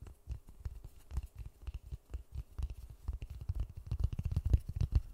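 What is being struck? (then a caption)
Polystyrene foam ball. A large white polystyrene foam ball, cupped in white-gloved hands close to the mic, is tapped and rubbed with the fingertips and palms. The result is a quick, uneven run of soft, deep, muffled thumps with faint dry scratchy rubbing between them, growing slightly louder toward the end.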